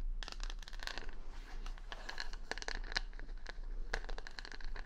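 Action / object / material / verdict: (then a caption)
scrape / wooden paddle brush with plastic rhinestone stickers / plastic / none. Long nails scratch across the plastic rhinestone stickers on the back of a wooden paddle hair brush held close to the mic. The result is a quick run of crisp, bright clicks and scratchy ticks over a steady low hum.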